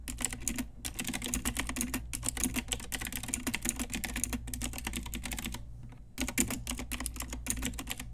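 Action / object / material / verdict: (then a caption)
tap / plastic mechanical keyboard / plastic / none. Long nails and fingertips type rapidly on a pink Ajazz retro typewriter-style mechanical keyboard with round plastic keycaps. The result is a dense stream of sharp, bright plastic clicks and clacks over a steady low hum. The typing briefly pauses near the six-second mark, then resumes.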